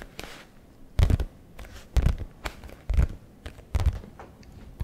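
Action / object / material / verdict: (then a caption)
tap / leather satchel flap / leather / none. Fingertips of both hands tap and scratch the leather flap of a brown leather messenger bag, a soft, hollow-sounding satchel. Heavy, low thumps come in irregular bursts, mixed with dry, crinkly scratching rustles between them.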